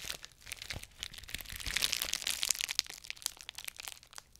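A clear plastic bubble wrap sheet is held next to the mic while fingertips pinch and pop its bubbles and crinkle the sheet. Dense, bright crinkling is broken by irregular sharp, dry pops and cracks that stop almost instantly. The sound swells a little in the middle and then thins out.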